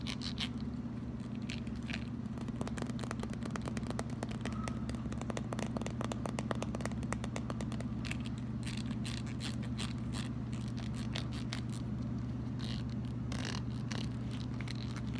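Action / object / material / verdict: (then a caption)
scrape / plastic wide-tooth comb / plastic / none. Fingernails strum and scratch the teeth of a red plastic wide-tooth comb held in both hands. Rapid, uneven runs of dry plastic clicks and ticks, with occasional bright scratchy bursts, play over a steady low hum.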